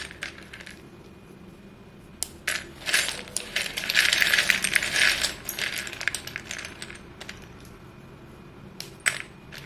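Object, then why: Heap of chalk sticks in a bowl. Fingertips stir and press a heap of short, solid white chalk sticks in a dark bowl, making bright clinking and crushing sounds. Sparse clicks build into a dense, scratchy cluster in the middle before thinning back to scattered taps.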